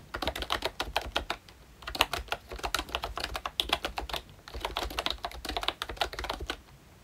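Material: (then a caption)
Plastic. A full-size Mickey Mouse-themed retro membrane keyboard with round plastic keycaps is typed on continuously with the fingertips of both hands. It gives quick, bright plastic clicks and soft clacks that die away almost instantly, coming in bursts with short pauses between them.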